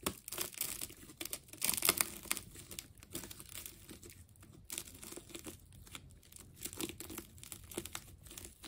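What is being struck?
Ball of wound plastic tape.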